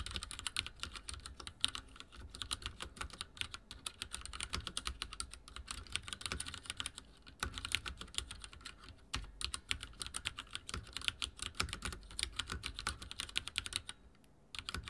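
Fingertips type steadily on a backlit mechanical keyboard with dark plastic keycaps, producing a dense stream of short, bright, sharp clicks. The clicks die out almost instantly, with brief lulls around 7 seconds and near 14 seconds before the typing resumes.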